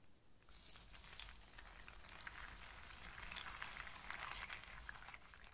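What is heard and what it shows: Hands with long nails sweep and rub through a loose pile of dry in-shell walnuts and hazelnuts on a surface, clicking the shells against one another. A quiet, steady stream of bright clicks and rattles runs through the clip, with a few sharper clicks standing out.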